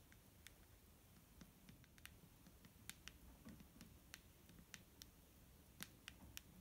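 Fingernails tap a clear plastic micellar water bottle filled with liquid, giving about twenty quiet, irregular clicks. Each tap is a sharp, bright tick that dies almost at once, over a soft low rumble.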